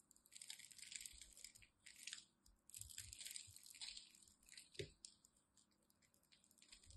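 A solid blue and white striped bar of dry soap is held in the fingers while a small blade chips cubes from its scored edge. The cubes crumble off with bright, dry crunching cuts in quick bursts, with one sharper snap near the end and quieter scraping as the cutting tapers off.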